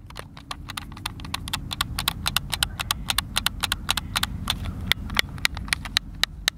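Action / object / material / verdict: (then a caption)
tap / plastic game controller buttons / plastic / none. Fingertips and thumbs press and click the buttons of a hand-sized, hollow white plastic Xbox controller held in both hands. A rapid, irregular run of sharp, bright clicks sounds over a steady low rumble. Each click cuts off almost instantly with no ring.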